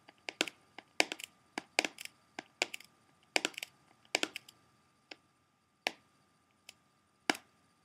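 A small, hollow, closed plastic CD jewel case with a Blondie cover, possibly still partly in cellophane wrap, is held in both hands while its front is tapped and scratched with fingertips and short nails. About 21 sharp, bright plastic clicks and taps come in irregular clusters, each dying away almost instantly. They thin out to sparse single taps toward the end.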